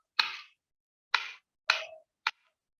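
A piece of wood is struck four times with a set of metal keys to show how a material's timbre differs from metal. Each hit is a short, bright, dry clack centered around 2.5 kHz, with little low end and a quick fade. The last strike is the shortest and sharpest.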